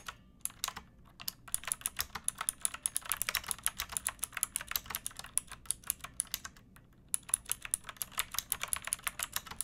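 Long nails and fingertips type on a backlit pink mechanical keyboard with round plastic keycaps and a hollow plastic case. The keystrokes are quick, bright clicks and clacks that die away almost instantly, coming in steady bursts of dozens of taps with brief pauses near the start and around the seven-second mark.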